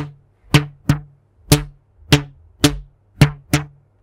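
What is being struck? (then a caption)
Stretched rubber band. A thin pink elastic rubber band, stretched between the hands in front of a microphone, is plucked and snapped with the fingertips. Seven short, sharp twangs are heard, each with a low pitched thump around 145 Hz and a quick bright snap that dies away almost at once.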